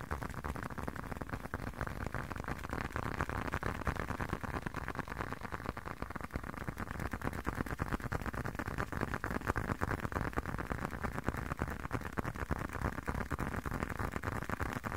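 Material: Leather.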